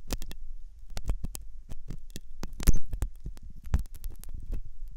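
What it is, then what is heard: Silicone ear model. A metal dental pick scrapes inside the hollow canal of a white, soft silicone ear on a binaural microphone. The result is a quick series of dry, close scratching clicks over a deep low rumble, with brief bright transients.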